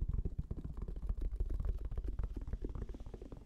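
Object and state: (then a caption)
Fabric-covered hard-shell headphone case, hollow. Fingertips rapidly tap a black, round, fabric-covered, semi-rigid Sony headphone case with a strap, held close to the microphone. Its hollow shell answers with a quick, steady run of soft, muffled, deep thumps. Each tap dies almost instantly and has no bright edge.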